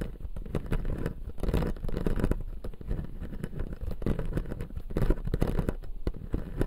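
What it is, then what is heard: Plastic teeth on an acrylic dental model, scratched and tapped. Fingertips and nails scratch and tap along the upper blue plastic teeth of a clear acrylic dental model. The result is a dense, continuous patter of quick scratchy taps and scrapes, weighted toward the low end with dull, short-lived hits.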